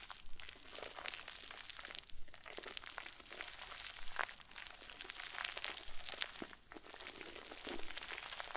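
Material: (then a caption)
Plastic. A round white plastic bag full of fluffy, soft stuffing is wrung and squeezed tightly with both fists. It makes a steady, dense crinkling and crackling with bright, hissy texture and small pops. The sound runs at an even level with a few brief dips as the grip shifts.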